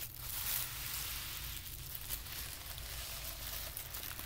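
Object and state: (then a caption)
Tissue paper crinkling. A flat sheet of white tissue paper on carpet is folded over, pressed with fingertips, then held up. Soft, continuous crinkling and rubbing fills the clip with a bright, papery hiss over a low, steady rumble, at a quiet, even level.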